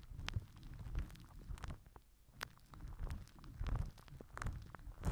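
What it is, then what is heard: Plastic wrap crinkled over a microphone. A microphone head wrapped in crinkled purple plastic film is rubbed and pressed with the cap end of a plastic glue stick held in the fingers. It gives a crinkly scraping of deep, muffled rumbling thumps, scattered with short, sharp, bright crackles. The sound swells and fades in uneven bursts.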